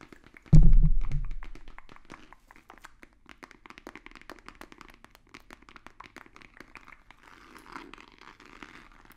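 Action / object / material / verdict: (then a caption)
tap / rigid cardboard box / cardboard / none. A long, hollow, rigid white cardboard box held close to the microphones is tapped with fingertips and nails. It opens with one deep, boomy thump that rings out over about a second, followed by a steady patter of light, quick, irregular taps with a hollow low body and crisp clicky tops. Near the end the taps blur into a soft, continuous scratchy rustle.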